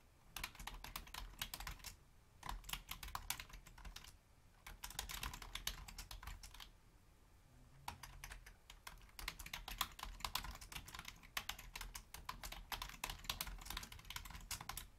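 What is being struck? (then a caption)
Plastic computer keyboard. Rapid key taps from long painted fingernails and fingertips of both hands typing on a full-size black plastic Logitech membrane keyboard with a hollow housing. Dense bursts of bright, clicky clatter are broken by short pauses, and each tap dies away almost instantly over a faint low rumble.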